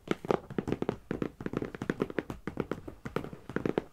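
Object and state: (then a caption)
Cardboard box tapped. A medium, closed, hollow brown corrugated cardboard shipping box is tapped rapidly on the top with the long nails and fingertips of both hands. The result is a quick, uneven patter of dry, hollow taps with a muffled, low-mid body and short, clicky nail edges, each dying away almost at once.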